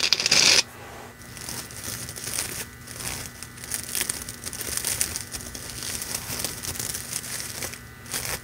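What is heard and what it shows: A loose length of red metallic plastic deco mesh ribbon, held in both hands, is crumpled, squeezed and rubbed with fingers and nails. A loud, bright crackling burst opens the clip, then gives way to a steady stream of quieter, high-pitched crinkling and scratchy rustling. Faint steady tones hum underneath throughout.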